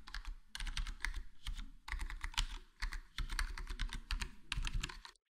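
Index fingertips tap one key at a time on a full-size black plastic HyperX Alloy Core gaming keyboard with square plastic keycaps and a foam-modded, foam-dampened case. The result is a steady run of soft, muffled, thocky key presses with deep low thumps and short bright clicks, grouped in quick bursts separated by brief pauses.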